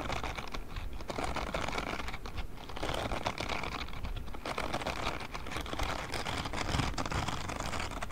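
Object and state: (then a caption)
Silicone scrubbing glove. A grey silicone spiky scrubbing glove is held by its palm pad close to the mic while fingertips scratch and flick across its silicone spikes. The result is a steady, dense stream of quick soft clicks and scratchy taps, like rapid typing, over a low rumbling undertone. The level stays even throughout.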